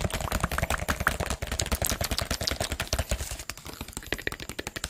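A clear PET water bottle with a teal label and cap, hollow and partly filled with water, is held in both hands close to the microphone and tapped and squeezed with fingertips and nails. Rapid, irregular taps produce dull low thumps mixed with bright, crisp clicks and crinkles, each dying away almost instantly. The tapping eases slightly in loudness toward the end.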